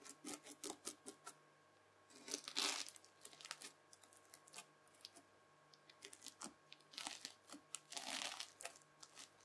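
A white plastic fork presses and scratches across the crunchy bead surface of a red, bead-filled floam slime pad. It makes a string of bright, crisp crackling crunches, with louder, denser bursts around 2.5 seconds and again near 8 seconds, and quiet gaps between them.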